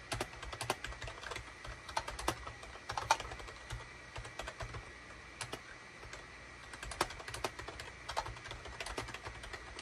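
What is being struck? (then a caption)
Plastic computer keyboard. Fingertips of both hands type rapid key presses on a full-size SHIPADOO K600 wired USB keyboard with a gray plastic case, cream, gray and orange plastic keycaps and a hollow body, resting on a desk mat. Sharp, dry plastic clicks and clacks come in quick irregular bursts, each dying away almost at once, with a quieter stretch of lighter taps in the middle over a faint low hum.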